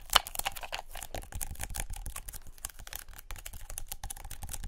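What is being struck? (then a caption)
Adhesive paper lint roller. Long nails rapidly tap a hand-sized white adhesive paper lint roller with a black plastic handle. The result is a dense run of quick, dry, crisp clicks with a bright edge and a soft low thump beneath. One sharper, louder tap stands out near the start.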